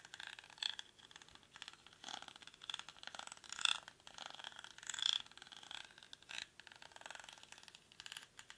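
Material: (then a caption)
Rattan. Fingertips and nails scratch and rub the weave of a hollow, cylindrical woven rattan or reed basket held in both hands. The result is dry, bright, scratchy rustling in uneven bursts, centered around 3.5 kHz with almost no low end. Occasional sharper crackles stand out from the quiet, close sound.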